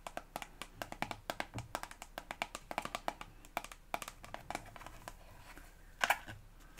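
Long acrylic nails tap on a hand-sized, hollow, white and green Elmex soft plastic toothpaste tube filled with paste. A quick, uneven run of short, dry, clicky taps with almost no ring continues for about five seconds, followed by quieter scratchy contact and one louder cluster of taps near the end.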